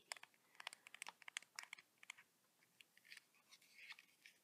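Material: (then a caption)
Metal. Short blue-painted fingernails tap the body and edge of a small lilac metallic Nikon Coolpix compact digital camera, a hollow electronic device held in both hands. Quick, dry, bright clicks come in a dense flurry over the first two seconds, then thin out into softer, scattered taps and faint rustles. Each tap stops at once with no ring.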